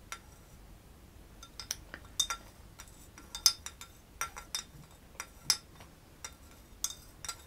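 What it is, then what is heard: Ceramic mug stirred with a metal spoon. A small metal spoon stirs a dark drink in a hollow, cream-colored ceramic coffee mug held in one hand, clinking against the inner wall. About fifteen short, bright clinks come at an irregular pace, each dying away almost at once over a quiet background.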